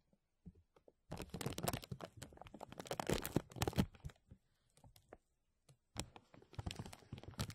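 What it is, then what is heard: Thin plastic bag crinkled. A thin translucent plastic bag over a mesh microphone is pinched with fingertips and then rubbed with both hands. It makes dense, close crinkling and crackling bursts with a low, rumbling body. The bursts stop and start in uneven clusters.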